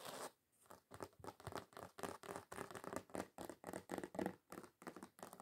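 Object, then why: Thin glitter-coated card sheet. Long acrylic nails scratch across a thin, solid, flat red glitter-covered card sheet. The result is a quick, uneven run of short, gritty, scratchy bursts with a bright, rasping texture, separated by brief pauses.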